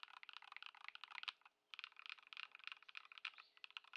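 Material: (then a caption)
Plastic. Fingertips type with both hands on a modded Ducky One 2 SF compact mechanical keyboard with Lumia Matcha switches, Poron foam and white plastic keycaps, resting on a wooden desk. The result is a quick run of short, crisp, bright key clacks centered around 2.5 kHz, with no low thump, and a brief pause just before the two-second mark. The typing then continues until one hand presses the final keys.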